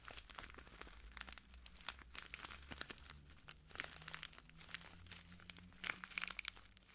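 A small clear plastic bag full of translucent granules is crinkled and squeezed by the fingertips of both hands. The result is a steady stream of dense, bright, crackly crinkles and soft crunches, with short louder bursts near the end.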